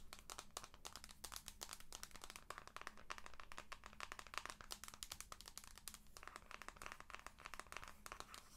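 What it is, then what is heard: Handheld game console in plastic case. Long nails tap and scratch the flat plastic back and side grips of a white and blue handheld game console in a plastic protective case, seen on its side and back. Rapid, dense clicks and bright scratchy crackles run throughout over a steady low hum, quiet overall, with each tap dying away almost instantly.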